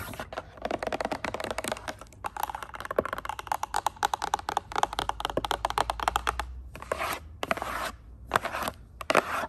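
Long pointed acrylic nails rapidly tap and scratch the glossy printed surface of a flat "Speak Out" cardboard cover, likely the lid of a game box or a book. The result is a dense stream of sharp, dry clicks and scrapes, with brief pauses near the end before short bursts resume.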